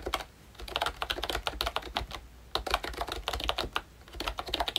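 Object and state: Plastic membrane keyboard.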